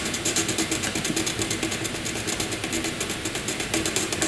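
A wooden graphite pencil shades a narrow rectangle on white paper with rapid back-and-forth strokes. The result is a steady, bright, scratchy rubbing sound that pulses with each stroke, with little low end.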